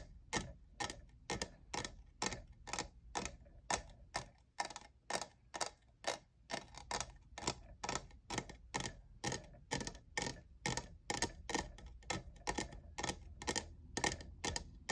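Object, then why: Plastic tumbler with faceted studs. Fingernails tap the faceted side of a tall, hollow, lavender plastic studded tumbler with jeweled sides that appears empty. About 42 short, bright clicks come at a loose, fairly quick pace over a faint low background hum. Each tap dies away almost instantly.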